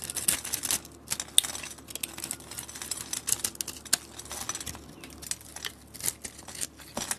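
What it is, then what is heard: Scored soap cube being scraped with a blade. A utility blade cuts and scrapes flakes off a solid blue cube of soap scored into a grid, held in a hand with dark nails. The result is a steady run of sharp, bright crackling clicks and crisp scraping snaps, with almost no low end and no ring after each cut.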